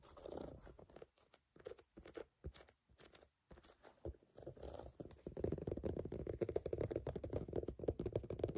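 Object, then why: Rubber shoe sole. Long fingernails tap and scratch the brown, ridged solid rubber outsole of a platform sneaker. Quiet, dull taps and short bursts are separated by pauses in the first few seconds. They then give way to continuous, rapid scratching that is denser and louder and centered in the low-mids.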